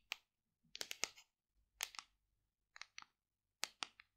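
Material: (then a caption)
Plastic. Long decorated nails tap and scratch a large, hollow white plastic supplement tub with a paper label, held in both hands. Quiet, crisp, bright clicks come in small clusters separated by short pauses, with almost no low end. Each tap stops dead, with no ring.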